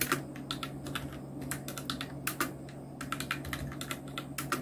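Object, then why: Plastic mechanical keyboard with round keycaps. Fingertips of both hands type quickly on a full-size black Nubwo Illution NK-70 mechanical keyboard with Outemu red switches, round plastic typewriter-style keycaps and blue backlight, resting on a white desk. The result is a steady stream of crisp, bright plastic clacks with short, dry decays over a faint low hum.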